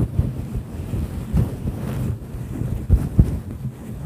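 Fingertips pinch, pluck and rub the fibers of a fluffy grey-and-white synthetic fur windscreen over a microphone. The result is a continuous muffled, wind-like rumble concentrated in the deep lows, with no bright content. A few sharper low thumps stand out above it.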